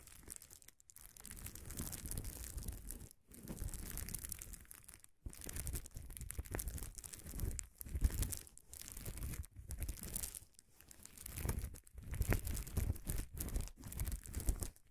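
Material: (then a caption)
Plastic. A large flat sheet of air-filled, gold-tinted plastic bubble wrap lies on a table while both hands scratch and rub its surface with fingertips and nails around an untouched field recorder sitting on the sheet. The result is a dense, continuous crinkling and scratching with a strong low rumble and bright, hissy texture, broken by several brief pauses.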